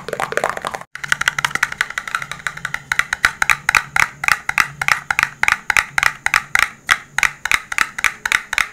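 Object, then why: Cardboard smartphone box. A dark blue printed cardboard smartphone box, rigid and hollow, is held in both hands and tapped with fingertips and nails. A steady run of around fifty quick, dry, hollow taps with clicky, bright nail edges is heard, each dying away almost at once, with a brief gap near the first second.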